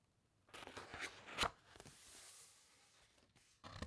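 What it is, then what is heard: Thick paper encyclopaedia pages being rubbed and turned. Fingertips rub the thick, uncoated pages of an open encyclopaedia and then turn a page. After a brief silence, there is dry, scratchy paper friction with a sharp crinkle near the middle. A soft, airy swish of the turning page follows, and a louder rustle comes at the end.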